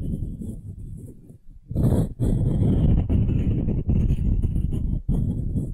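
Long nails scratch the end-grain face near the edge of a solid pale wooden cube, producing a dense, low, rumbling scrape. It starts quieter, dips almost to silence around the middle of the second second, then swells louder in bursts separated by brief gaps.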